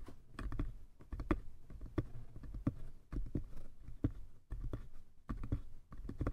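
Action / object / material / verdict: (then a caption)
tap / small wooden box / wood / none. Fingertips and nails tap continuously on both sides of a small hollow wooden box with a painted lid. The result is a quick, irregular patter of soft, dull knocks with a low hollow body around 105 Hz. Brighter nail clicks occasionally cut through, and each tap dies away almost instantly.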